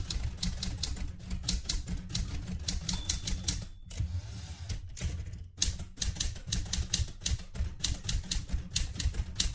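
A vintage light blue portable manual typewriter with a metal body is typed on continuously by fingertips with red-painted nails. Rapid, bright key clacks sit over heavy, low mechanical thumps, with a brief quieter lull in the middle before the steady typing resumes.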